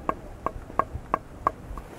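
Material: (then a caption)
Bamboo. Six quick taps on a hollow bamboo stalk, evenly spaced, with the last one softer. Each gives a short, dry knock with a clear hollow tone near 1.1 kHz that dies away almost instantly, confirming the stalk is hollow.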